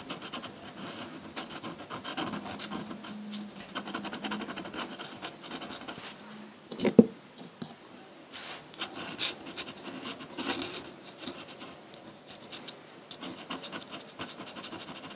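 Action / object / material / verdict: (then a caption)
scrape / metal dip pen nib on paper sheet / paper / none. A metal dip pen nib scratches hatching onto a large flat sheet of white drawing paper. Dense, dry, bright scratching strokes run steadily, with a sharp louder tick near the middle, a brief hiss of bright noise just after it, then quieter stretches before the hatching picks up again.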